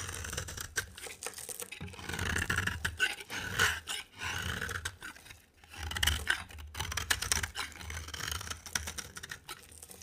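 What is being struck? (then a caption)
Bar of soap scraped with a metal blade. A box cutter blade held in the hand scrapes a dry, rectangular, solid cream bar of soap with a green rim. Dense, crisp scraping and shaving sounds come in rapid bursts, bright and scratchy, over a soft low rumble. Brief pauses fall between the strokes.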